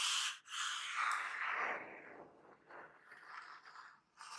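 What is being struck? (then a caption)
Corrugated cardboard box. Fingertips and medium painted nails scratch and tap the surface of a large, hollow, flattened brown corrugated cardboard Amazon box lying flat, then the hands hold its edges. Loud, bright, dry scratching rasps with a brief pause near the start give way to softer, intermittent scraping and rustling, ending in a short scratchy burst.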